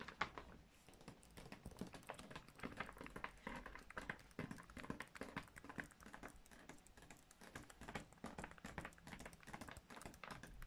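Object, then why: Kraft-paper gift bag. Fingertips and long nails tap and scratch the flat paper side of a large, empty, hollow grey kraft-paper gift bag with rope handles. The result is a quiet, steady stream of rapid, dry, papery taps and scratchy rustles, each one short with almost no ring.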